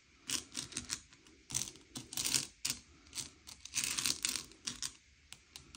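Fingertips slide and push a pile of small, hard, sugar-shelled M&M's candy-coated chocolates around a grey plate, sorting them by colour. The result is a quick, irregular run of bright clicking and rattling bursts as the shells knock and scrape against each other and the plate, with almost no low end.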